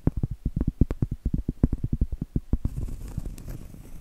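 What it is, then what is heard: Cork trivet. A round, flat, solid cork trivet board held upright is tapped with medium acrylic nails, giving a quick run of about two dozen dull, low, soft knocks with almost no ring. The taps then give way to a steady, rough, grainy scratching of the nails across the cork surface.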